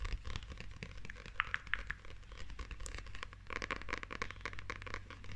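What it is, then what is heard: Paperback book with glossy paper cover. Long nails scratch and tap the glossy illustrated front and back paper cover of a closed, solid paperback manga held close. It makes a quiet, dense stream of crisp, crinkly scratches and short, dry taps with a bright edge, over a steady low hum.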